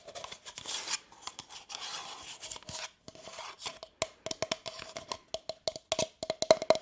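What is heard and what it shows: Long nails scratch and tap the side and base of a hollow, apparently empty brown kraft cardboard cup with printed text, held in one hand. Soft, bright scratching rasps fill the first three seconds. A run of quick, dry taps follows, each carrying a faint hollow ring around 640 Hz.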